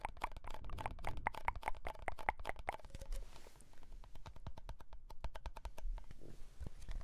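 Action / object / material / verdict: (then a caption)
tap / cardboard tube can with metal base / cardboard / none. A red Pringles chip can, a hollow composite cardboard tube with a metal base, is tapped with the fingertips and nails on its side and bottom, then turned sideways. Quick, dry taps come in fast runs, with a hollow ringing tone near 870 Hz in the first half. Later the taps turn sparser and duller, with soft low thumps.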